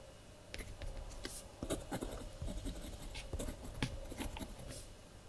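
A blue ballpoint pen scratches across the collaged paper pages of a spiral-bound kraft paper journal lying flat, with the other hand resting beside the journal. Quiet, dry scratchy strokes and brief ticks come in short bursts, with bright scratching edges over a soft, low rumble and a faint steady hum underneath.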